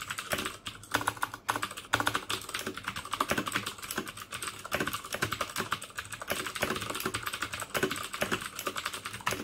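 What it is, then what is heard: Plastic mechanical keyboard with clicky switches. Fingertips type steadily on the keycaps of a black plastic mechanical keyboard fitted with clicky Cherry MX Blue switches. The result is a rapid, continuous stream of sharp, bright clicks that decay almost instantly, with little low end and brief gaps between bursts of keystrokes.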